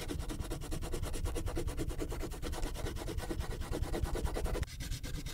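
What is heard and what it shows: A purple wax crayon rubs a thin paper coloring sheet resting on a clipboard, working in quick back-and-forth strokes around a poodle drawing. The result is a steady, dense scratchy rubbing with a low, papery rumble. Near the end it briefly drops as the same sheet is rotated partway, then the strokes resume.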